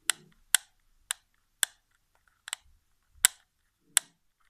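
A white plastic PS4 game controller lies flipped over on carpet while a fingertip clicks its shoulder triggers and taps its back shell. About seven sharp, bright plastic clicks and taps ring out at uneven intervals, each dying away almost instantly. The sounds are dry and high, with faint soft rustles between them.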